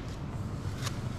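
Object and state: Nothing is struck.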